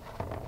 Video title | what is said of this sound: How-To: Making Baguettes Part 3 | if they sound hollow which they do that's also a good indication they're done